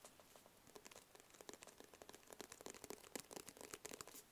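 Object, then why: Small rigid cardboard box. Fingertips and nails tap rapidly on a small, hollow, rigid black cardboard box with a white label. The result is a quiet, steady run of short, dry taps and clicks with a bright edge and a faint hollow mid tone near 490 Hz. Each tap dies away almost at once.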